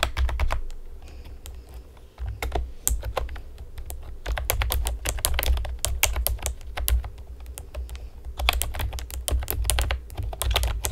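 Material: Plastic.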